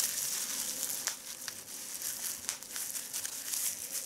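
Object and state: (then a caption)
Plastic bubble wrap. A sheet of clear plastic bubble wrap on a leather seat is crinkled and squeezed by fingertips, making a steady, bright rustling hiss. Sharper crackles pop out of the crinkling, with no low end beneath it.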